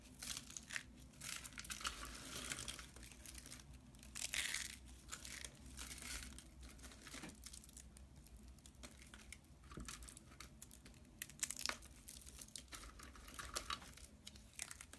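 Fingertips crumble a pile of thin, hollow, white dry soap curls on a metal tray, and a hand wearing a ring presses into the pile. Dense, bright crinkling and crisp crunching come in bursts of louder crackle over a steady low hum.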